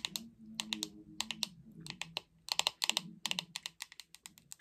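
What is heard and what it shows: Long red acrylic nails tap the glossy back and handle of a hollow, hot pink plastic paddle hairbrush held close up. The result is a quick, uneven series of sharp, bright clicks that stop dead with almost no ring, over a faint low hum.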